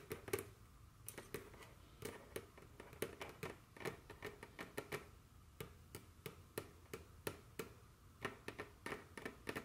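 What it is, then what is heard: Wooden table top tapped with fingernails. Very long curved fingernails tap and scratch a solid dark wooden tabletop, making about 34 quick, dry clicks with irregular spacing. Each tap is quiet and sharp, with a woody knock near 410 Hz, a bright edge and almost no ring. Soft scratching fills the gaps between taps.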